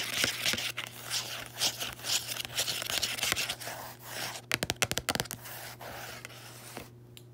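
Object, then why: Paperback book with textured card cover. Fingertips and long nails tap and scratch the matte textured card cover of a closed small paperback lying on a bedsheet. Bright, dry rasping scratches fill most of the clip, broken midway by a quick run of sharp taps, over a faint steady low hum.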